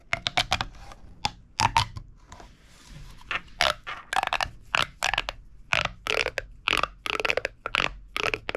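A small, hollow, red-orange corrugated plastic pop tube toy is held in both hands, and fingers push its ribs together and pull them apart. Quick, bright, crunchy crackling pops come in dense bursts, with brief quieter gaps between them.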